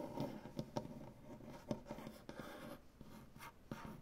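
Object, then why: Maple butcher-block tabletop. Fingernails of one hand scratch across a large solid maple butcher-block tabletop, giving a soft, dry, continuous scraping rasp concentrated in the low mids. About five sharper nail clicks stand out from the quiet texture, each dying away almost instantly.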